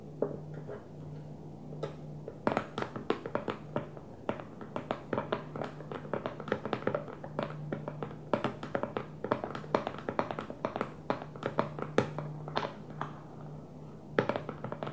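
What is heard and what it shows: A clear plastic food storage container, empty and hollow, sits upside down on its blue lid and is tapped with the long manicured nails of both hands. Quick, light, clicky taps come in uneven bursts with very short decay, over a steady low hum.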